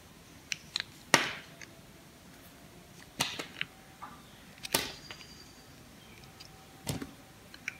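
A knife cuts and shaves slices off a solid pink bar of soap with a yellow outer layer, held in the palm. Four loud, crisp, bright snaps ring out, each with a short crackling tail, with smaller clicks and ticks scattered between them.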